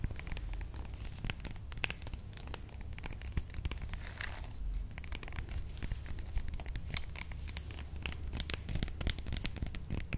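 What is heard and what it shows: Long manicured nails tap and scratch a whole, fist-sized, solid avocado with dark, bumpy skin held in the hands. A quiet, steady stream of dry, crisp clicks and scratchy rasps with bright edges dies away almost instantly. A low hum sits constantly underneath.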